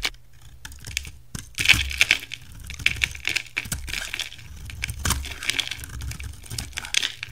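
A utility knife shaves along the rim of a solid yellow oval bar of soap held in one hand, sending crumbly yellow curls falling off. Rapid, crisp crackling scrapes and dry snaps come in quick bursts, with a bright, brittle tone centered around 2.3 kHz. A faint low hum sits underneath throughout.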